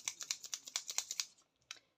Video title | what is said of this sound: Mini haul @action @aliexpress et @cocofeeling1944 | Vous entendez le petit clic, clic, clic, clic, clic.